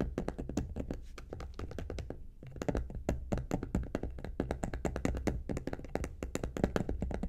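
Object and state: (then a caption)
Faux leather vanity case, nail tapping. Long acrylic nails rapidly tap and scratch the top of the lid of a medium, hollow cosmetic vanity case covered in gold polka-dot faux leather, with a metal handle. The result is a dense stream of short, dull, hollow thumps with a deep low body and almost no ring, interrupted by a brief lull near the start.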